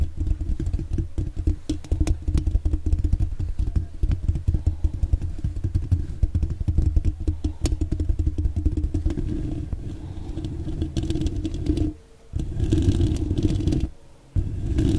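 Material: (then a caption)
Metal mesh. Long dark-painted nails on both hands scratch and rub quickly over a hollow metal mesh microphone grille, producing a dense, bass-heavy rumble of rapid scratchy crackles. The rubbing continues almost without pause, dropping briefly to near silence twice near the end before resuming.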